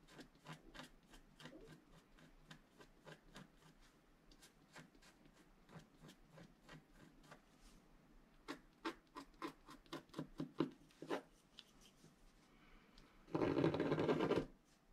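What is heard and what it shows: A wooden stylus scratches strokes into the black coating of a flat scratch art card, a black-coated paper board. Quick, short, dry scratches come in an uneven rapid series, growing somewhat louder toward the middle. They end with one longer, louder continuous scrape that has a bright, rasping texture.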